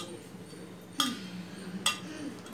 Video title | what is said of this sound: Coconut Burfi - @AndhraparisFood | బాల్లా చేసి ప్లేట్కి వేసి కొడితే టక్కుమని సౌండ్ వస్తుంది.